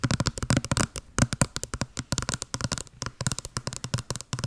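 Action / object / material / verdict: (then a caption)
tap / small cardboard box / cardboard / none. A hollow small white cardboard box with a blue pattern, held over the mic, is tapped rapidly with long blue acrylic nails. Around 29 quick, distinct taps each give a hollow low thud with a bright clicky edge and almost no ring. The rhythm is uneven and skittering, with some clusters louder than others.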